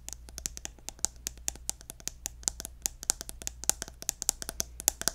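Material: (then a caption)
Plastic. Fingernails tap on the gold cap of a pink plastic lotion bottle held upright, producing a rapid, uneven run of about 34 crisp, clicky taps. Each tap is short and bright, dies away almost instantly, and sits over a faint low hum.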